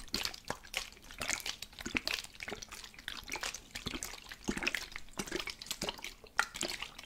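A plastic spray bottle with water inside is shaken, and the liquid sloshes and splashes in quick, bright bursts. Many short wet sloshes run together over a faint steady low hum.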